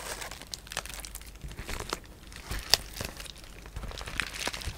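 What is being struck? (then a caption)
Plastic bubble wrap. Fingertips with short painted nails scratch, rub and press a sheet of clear polyethylene bubble wrap with air-filled bubbles. The result is a steady stream of soft, bright crinkling and rustling, with a few sharper crackles standing out, most clearly one near the middle of the clip.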